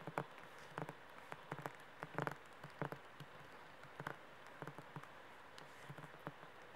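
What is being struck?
Paperback book with laminated card cover.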